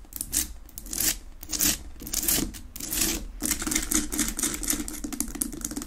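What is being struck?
Rock-salt lamp.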